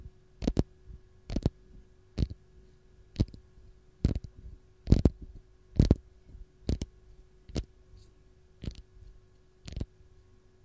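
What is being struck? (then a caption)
Whole lemon, textured peel. Long gold nails scratch the textured peel of a single whole raw lemon held close. Short, dry, crackling scratches come in bursts about once a second at an uneven pace, each sharp, bright and quickly gone, over a quiet low background with a faint steady hum.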